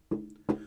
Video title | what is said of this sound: ALL NEW HIFI SYSTEM to REVIEW German Physiks Speakers Audio Analogue Gutwire Norma Audio HRS Intro | if I tap the top of the amplifier you can hear we have got a little bit of resonance there not too bad